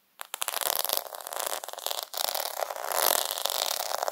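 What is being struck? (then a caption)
Plastic half-pearl sticker sheet. Fingertips sweep and scratch across the bead rows of a plastic faux half-pearl sticker sheet. The result is a dense, bright, crackly scraping with quick clicking ticks, with no low end and almost no ring after each contact.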